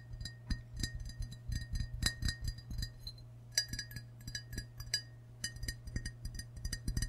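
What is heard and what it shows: A medium-sized, hollow glazed ceramic mug shaped like a green-and-white frog is held in both hands and tapped with fingertips and short nails on its white belly and sides. The result is a rapid, irregular run of short, bright clinks with a glassy ring near 1.9 kHz that dies away quickly, over a steady low hum.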